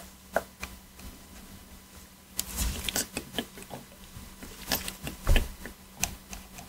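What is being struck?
Hard plastic game controller.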